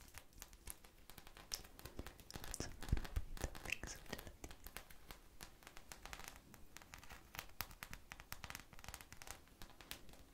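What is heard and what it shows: A small, purple, polyurethane foam ice cream bar squishy with a sprinkle coating and a stick is held in the hands and scratched and tapped with long manicured nails. The result is a quiet, dense stream of short, dry scratching and crinkling ticks with a few louder taps around the three-second mark.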